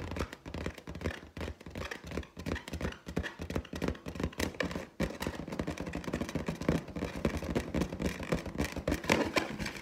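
Long teal nails scratch and tap the skin of a large, hollow, inflated clear latex balloon with a gold pineapple print. The result is a dense, continuous run of quick scratches and soft taps with a hollow, low thump under them, and each tap dies away almost at once.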